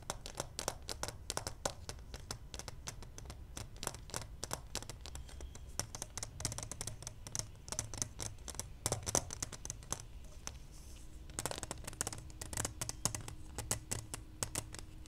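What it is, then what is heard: Plastic pacifier case tapped with nails. Long nails tap rapidly all over the hollow shell of a small clear plastic case with a pacifier inside. The result is a dense stream of sharp, bright clicks that die away almost instantly, over a steady low rumble. A faint, steady low hum joins near the end.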